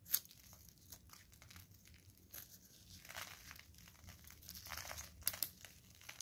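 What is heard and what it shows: A craft knife blade scrapes thin curls off a palm-sized solid blue bar of soap held in green rubber-gloved hands, and the shavings fall onto crinkled paper below. The quiet, bright scraping and crinkling comes in soft bursts, with a few sharper clicks near the start and just past the five-second mark.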